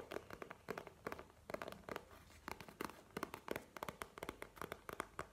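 A map-print faux leather wallet, held horizontally in both hands, is tapped and scratched with fingernails. The result is a rapid, irregular series of short, dry taps with bright clicky edges, over a soft, faint scratching texture in between.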